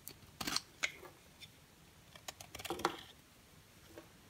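A box cutter blade carves and scrapes an orange-and-white striped bar of dry solid soap held in the hand. Short, crisp, bright scraping crackles come in irregular bursts, with the loudest cluster near the end, each dying away almost instantly between quiet pauses.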